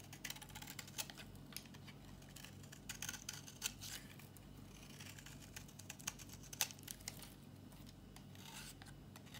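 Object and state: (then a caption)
Dry bar soap scraped with a blade. A metal utility-knife blade scrapes a solid, dry, old pink bar of soap held in the hand. The result is a quiet series of short, dry, bright scratching and crackling strokes over a steady low hum.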